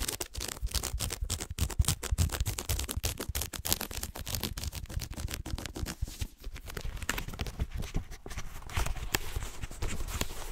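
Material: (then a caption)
Paper. Fingertips tap and scratch the paper cover and page edges of a yellow-orange paperback book in quick, dry, closely spaced clicks with soft low thuds underneath. The book is then opened and its pages are handled, giving a crisp, bright paper rustle.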